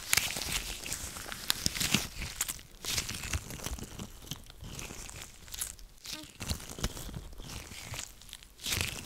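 White latex gloves worn on both hands are rubbed, pressed and flexed together above a microphone. The result is a continuous crinkly, rubbery rubbing sound with bright, high-pitched crackles and frequent short squeaks and snaps.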